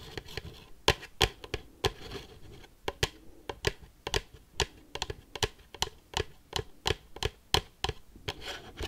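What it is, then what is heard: Cardboard box tapped with metal paperclips. Metal paperclips worn on the fingertips rapidly tap and scratch a hollow, red and black printed cardboard Pikachu box. Sharp, bright clicks with very short ring come in quick, uneven bursts over soft scratching.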